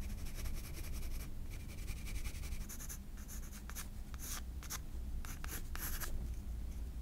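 A graphite pencil scratches short sketch strokes for the hair and face on a white paper page of a spiral sketchbook. Dry, bright scratching comes in quick bursts over a steady low hum.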